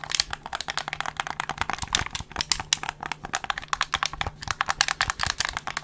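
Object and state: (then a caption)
Plastic game controller, button clicks and shell taps. A handheld black plastic gamepad with a hollow shell is held in both hands close up, its buttons and triggers pressed and clicked and the shell tapped with fingertips. A rapid stream of short, bright plastic clicks and taps runs with no ring, over a faint low hum.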